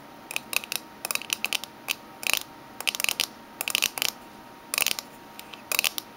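Fingernails of both hands tap the lid and rim of a small, closed, oval aluminium Minteas tin resting on a table. Quick, bright, clicky taps come in irregular bursts, with a thin metallic tone around 2.6 kHz. Each tap dies away almost at once, leaving near silence between bursts.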